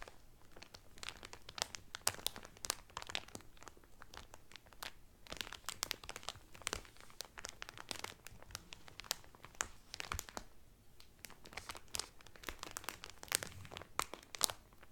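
Fingertips and nails rub and crinkle the cellophane wrapping on a Carnival Cruise cotton towel. Dense, bright crackles and crunches come in quick, uneven bursts at a quiet level. Each snap dies out almost instantly.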